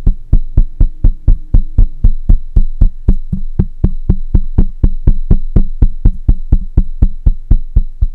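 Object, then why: Microphone with metal mesh grille. Fingertips of one hand tap the side of a black microphone's hollow metal mesh head, giving 33 short, deep thuds at a steady pace of about four per second. Each tap is boomy and low with almost no ring, and a faint, steady high tone runs underneath.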